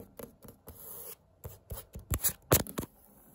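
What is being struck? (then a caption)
Thin woven fabric tapestry. Long-nailed fingertips scratch and tap across a thin, pink and tan printed woven fabric wall tapestry. Irregular bursts of dry, bright scratchy rustling alternate with soft low thumps and a brief sustained scrape. Each sound dies away almost instantly, leaving quiet gaps.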